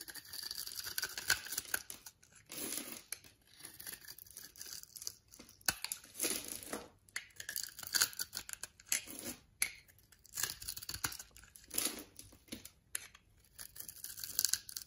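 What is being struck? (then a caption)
Bar of soap. A utility knife blade scrapes small cubes and crumbs off a solid orange and white striped bar soap held in the palm. Crisp, dry scraping and crumbling bursts repeat in quick clusters, with quiet gaps between strokes. The sound is bright and papery with almost no low end.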